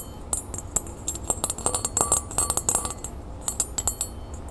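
A small, thin, solid, flat round copper-toned metal disc earring with a raised scale pattern is held in the hand and scratched and tapped with long painted nails. A fast, uneven run of bright metallic clicks and ticks sounds over soft scratching, each tap dying away quickly with a faint ring near 1.2 kHz.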